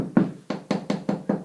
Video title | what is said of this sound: Windows and baths | as you knock, you're going to hear some tiles that are a little bit loose and hollow